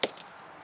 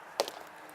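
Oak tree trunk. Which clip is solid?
The first.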